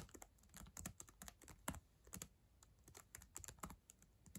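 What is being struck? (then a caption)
Plastic laptop keyboard keys. Long acrylic nails and fingertips type on the plastic keys of a black ThinkPad laptop keyboard. A quick, uneven run of short, quiet clicks follows, with bright nail clacks over a soft low thud from each key press. Each tap dies away almost at once.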